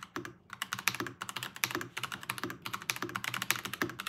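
A full-size Chinese-style Varmilo VBS108 mechanical keyboard with Kailh crane switches and plastic keycaps sits on a pink desk mat while both hands type fast with their fingertips. It produces a rapid, steady stream of short, bright plastic clacks, each dying away almost instantly. A few heavier strokes add a deeper thock underneath.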